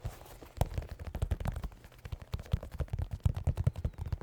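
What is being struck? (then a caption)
Sneaker, synthetic leather upper and rubber sole. A pair of white New Balance 608 sneakers, made of synthetic leather with rubber soles, is tapped in a quick, uneven run of many taps. Each tap is a short, dull, low thud that dies away almost at once, with no ringing.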